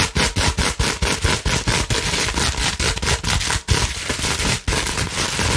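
Long nails scratch quickly over a clear plastic bubble wrap sheet that is partly folded. The result is a dense, steady crackling scrape that is bright on top with a low rumble underneath. It is broken by brief, uneven dips between strokes.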